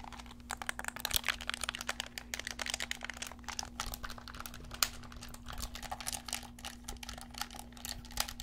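Fingertips and thumbs press and click the buttons and sticks of a black handheld plastic gamepad with a hollow shell, held in both hands. The result is a dense, irregular run of quick, bright plastic clicks and taps, each dying away almost instantly, over a faint steady low hum.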